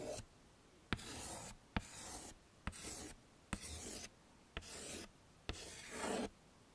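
A hand with painted nails writes and retraces letters in white chalk on the dark surface of a small, flat chalkboard with a wooden frame. Six separate strokes are heard, each opening with a sharp click of chalk meeting the board and then a bright, hissy scratching that lasts about half a second. Brief quiet gaps fall between the strokes.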